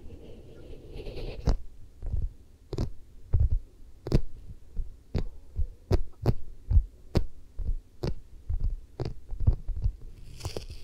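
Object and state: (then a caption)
Vinyl mannequin head. Long nails scratch and grip along the side and cheek of a vinyl or rubber mannequin head held in both hands. A steady series of dull, low thumps, each with a quick bright click, plays over a faint low hum. Soft airy hiss rises at the very start and end.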